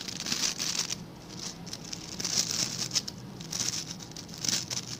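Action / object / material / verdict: scrape / plastic scrub brush with stiff bristles / plastic / none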